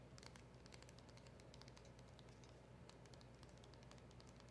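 Long acrylic nails tap and scratch quickly over the back and edges of a small, hollow, black printed cardboard packaging box, making a steady stream of soft, bright clicks and scrapes. A low hum sits underneath throughout the quiet clip.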